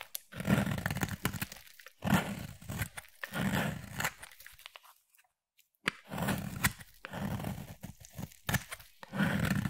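A utility knife blade scrapes fine shavings off a solid yellow bar of soap in a series of gritty, crunchy strokes with a low, full body and some brighter crackle. The strokes come in short bursts, broken by a brief silent pause near the middle before the scraping resumes.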